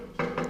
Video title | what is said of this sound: Ma Peugeot 103 est Morte ☠ !!! et j'offre mon 103 RCX $$ | Si je tape à côté sur du métal, là par exemple, on sent que c'est du métal